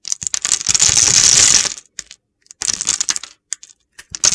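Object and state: Dry bar of soap, crumbly when cut.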